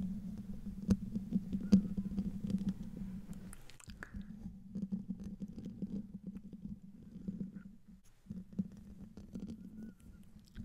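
Medium fingernails of both hands scratch the hollow metal mesh grille of a silver condenser microphone. The result is close, crackly scratching over a steady low hum around 190 Hz, with a few sharper taps and brief pauses near 4 and 8 seconds.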